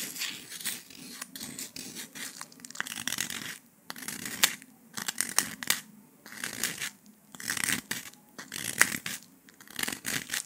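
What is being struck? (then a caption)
Honeycomb sugar candy slab. Latex-gloved fingers press and snap thin shards off the edge of a flat, brittle, porous brown dalgona honeycomb sugar candy slab, solid with a honeycomb interior. The sound is bright, crisp cracking and crumbling crackle in clustered bursts separated by brief quiet gaps, over a faint low hum.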